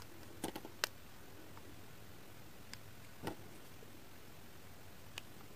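A solid, translucent pink, heart-shaped glycerin soap bar, hand-sized, is shaved with the blade of a pink kitchen knife, curling off flakes. Short, sharp scraping clicks come in an uneven pattern, seven in all, over a steady low hum. Each click is bright and dies away almost at once.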